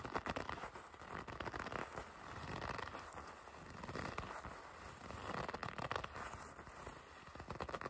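A red leather jacket sleeve with white and black stripes, held upright, is gripped and squeezed by fingertips with long red nails. The leather gives off a steady run of soft crackling, creaking and scraping rubs centered in the midrange, swelling and easing as the grip tightens and relaxes.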